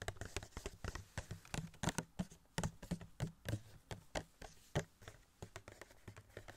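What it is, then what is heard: Cardboard box with plastic window. Fingertips tap rapidly on a small, hollow cardboard Funko Pop box of Wasp, which has a clear plastic window and the figure inside. The result is a quick, uneven patter of soft, dry taps with a low, hollow body and very short decay.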